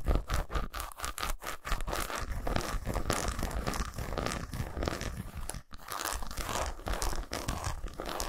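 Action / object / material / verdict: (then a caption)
scrape / segmented milk chocolate bar / chocolate / none. Fingernails rapidly scratch and tap across the squares of a segmented solid milk chocolate bar resting on a towel. The result is a dense, continuous stream of dry crunchy scrapes and quick, short taps, heavy in the low end with little high brightness. The activity briefly drops out near the middle before resuming.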